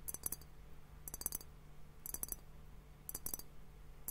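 A fingertip and nail tap on both bulbs of a clear, hollow glass hourglass liquid timer that is partly filled with liquid and bubbles. The taps come in four quick clusters of bright, dry clicks, about one cluster per second, with almost no ring. A steady low hum sits underneath at a quiet level.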